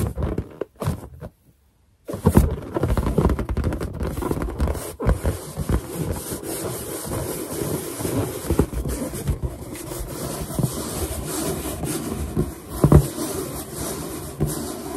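Long painted nails and finger pads rub and tap the surface of a large, hollow, inflated white latex balloon with a printed drawing on it. After a brief pause near the start, a steady low, dull rubbing continues with scattered soft thumps and a few louder taps.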